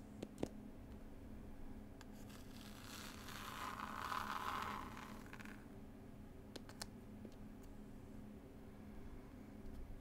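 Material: Cloth, card.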